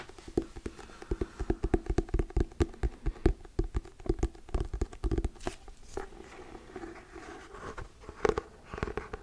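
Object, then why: Hardcover book with paper-covered cardboard cover. Fingertips and nails tap on the glossy paper-covered cardboard cover of a solid Diary of a Wimpy Kid hardcover book held close to the mic. Quick, irregular dull taps with a low thump come in dense bursts, mixed with soft scratchy brushing. The taps are short and dry, with pauses between clusters.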